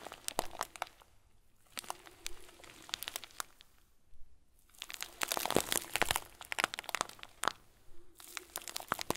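A hand-sized clear plastic bag full of small white plastic pearls is squeezed with fingers and thumbs. Dense bursts of bright, crisp crunching and crinkling are heard as the beads shift inside. The bursts are separated by brief quiet pauses near 1.5 and 4 seconds and again near 8 seconds.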